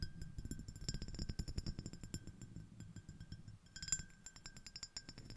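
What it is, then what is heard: Glass shell-shaped dish. Long acrylic nail tips of one hand rapidly tap a small, empty, clear, iridescent, ribbed shell-shaped glass dish. The result is a quick, busy run of bright, clicky glass ticks over a soft low thud, with a faint steady tone near 1.5 kHz. Each tap dies away almost instantly with no lingering ring.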